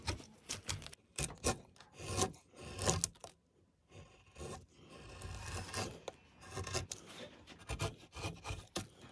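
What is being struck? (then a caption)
Pine wood block. A hand-held metal chisel scrapes and cuts into a large solid block of light pine wood that has a relief pattern carved into it and is covered in shavings. A series of short, rasping carving strokes follows, each a burst of gritty, scratchy noise reaching up to the high range with a low body underneath, separated by brief pauses and a softer, steadier stretch of scraping in the middle.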